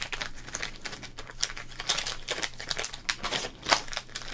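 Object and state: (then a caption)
Plastic card pack wrapper being crinkled. Fingertips crinkle and rub a small, flattened Topps trading card pack in a thin, printed plastic wrapper. The result is a close, continuous crackling of bright, dry crinkles with quick sharper snaps scattered throughout and a faint low hum underneath.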